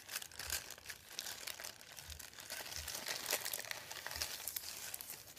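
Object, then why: Thin printed paper sheet. Fingertips rub and crinkle a thin, folded sheet of printed white paper resting on a wooden table. The result is a soft, continuous stream of bright, crackly rustling with many small snaps overlapping, and almost no low end.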